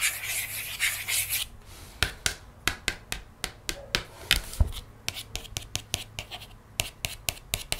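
Long nails scratch and trace across the pink page of an open board book with thick, glossy paperboard pages resting on a table. A second and a half of steady, bright rasping scratching is followed by a quick series of short, sharp clicks and taps with dry, brief scrapes in between.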